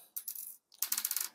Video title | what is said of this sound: Ratujemy 11 letni ekspres Siemens Surpresso Compact (general renovation) Bez Dubli (#010) | you can probably hear them, you can't see them, but you can hear them banging on the counter